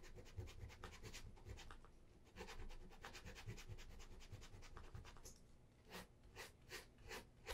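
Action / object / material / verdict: scrape / leather shoe with wooden shoe tree / leather / none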